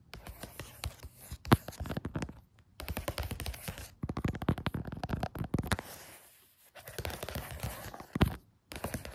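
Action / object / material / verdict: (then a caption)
scrape / paper sheet on a floor / paper / none. Fingertips and nails tap and scratch across a thin sheet of graph paper with blue pen doodles, lying flat on a floor. Rapid bursts of dry, papery taps and scratchy rubbing come in clusters separated by brief pauses, with a few sharper, louder taps standing out. The sound is mostly low and dull, with no ring after each hit.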